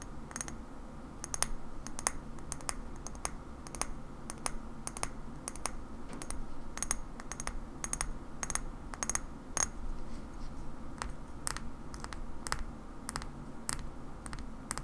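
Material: Glass.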